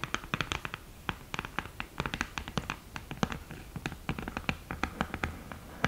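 Long green nails tap and scratch the mirror surface and the lid edge of an open cardboard eyeshadow palette with a mirror lid. The result is a rapid, irregular stream of short, crisp clicks and ticks, with brief scratchy strokes between them, over a faint low background hum. Each tap dies away almost instantly.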